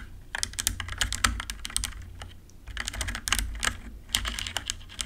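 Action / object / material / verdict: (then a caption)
tap / plastic mechanical keyboard / plastic / none. Long nails and fingertips of both hands type quickly on a compact RGB-backlit mechanical keyboard with plastic keycaps. The result is a dense run of short, bright clicky taps with a few louder clacks. A steady low hum sits beneath the typing.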